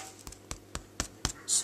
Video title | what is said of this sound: Learn how to make super sourdough | It's quite bassy. Sounds like it could be a bit hollow.